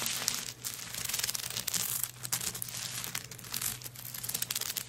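Long nails scratch and scrape across a handbag covered in coconut shell chips lying flat. The result is a steady, bright, dry crackling and rasping texture with quick clicky edges, over a faint low hum.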